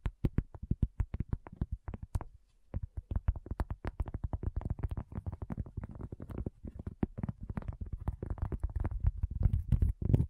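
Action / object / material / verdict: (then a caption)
tap / round flat cork coaster / cork / none. Long fingernails of both hands tap quickly on a solid, round, flat cork coaster. The rapid, dry, dull taps are heavy in the low end and die away almost instantly. After a short pause early on, the tapping returns denser and faster toward the end.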